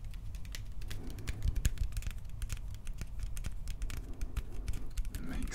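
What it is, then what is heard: Plastic toy blaster. A hand-sized Star-Lord style prop blaster of hollow hard plastic with metallic paint and yellow accents is held in both hands and tapped and scratched with the fingertips along the barrel and grip. A rapid, uneven stream of short, dry, clicky taps rings out over a steady low hum, with each tap dying away almost instantly.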